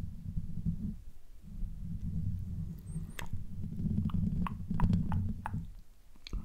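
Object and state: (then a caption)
Metal mesh microphone grille being scratched. Fingertips of both hands rub and scratch directly on the hollow domed metal mesh grille on top of a rose-gold Blue Yeti USB microphone. The result is a dense, low, muffled rumbling of soft rubbing, with short, brighter scratchy ticks appearing toward the second half.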